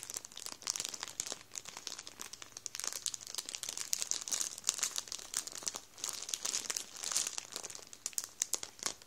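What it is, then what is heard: Plastic bread roll bag crinkled. An open hand rubs and scrunches a full Warburtons plastic bread roll bag with the fingertips. It makes dense, continuous crinkling with sharp, bright crackles and almost no low end. The rustling rises and falls in irregular bursts for about nine seconds.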